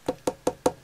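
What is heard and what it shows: Four knocks on a 29 cm Nemesis Now Sister Mortis nun figure, a cast decorative piece that is completely hollow underneath with no base felt pads. Each knock gives a short, hollow tock centered around 500 Hz that dies away almost at once. The figure sounds extremely cheap and as hollow as it gets.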